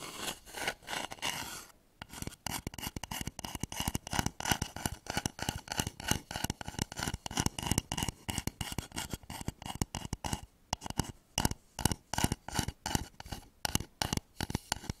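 Fingernails rapidly scratch and rub the outside of a hollow, polished wooden bowl turned upside down over microphones. The result is a dense stream of quick, dry scraping strokes with a hollow low resonance beneath a bright, rasping top. There is a brief pause near the two-second mark.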